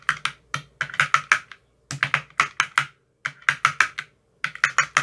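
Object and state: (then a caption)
Plastic ice cube tray with silicone cups. A long metal rod with a white tip taps into the cells of an empty clear plastic ice cube tray with green silicone cups. The result is 24 quick, crisp, clicky taps in short bursts separated by brief pauses, each with a bright, hollow tone that dies away almost at once.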